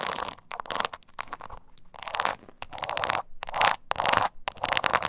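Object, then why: Small croc-embossed leather purse. Long nails scratch the scaly surface of a small, hollow, croc-embossed leather mini purse held upright. Bursts of dry, raspy scratching come in quick strokes of varying length, with a bright hiss centered in the midrange and short pauses between them.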